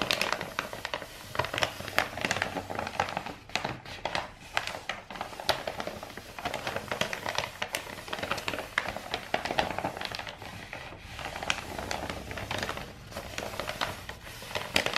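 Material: Paper.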